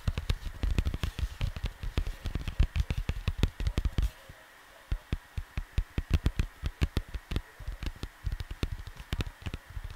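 Fingertips patter and tap rapidly on a large, flat, printed cardboard LP record sleeve lying on a desk beside the microphone. The first few seconds are a dense flurry of deep, dry, hollow thuds with short decays. After a brief pause, the taps return in a sparser, more separated rhythm.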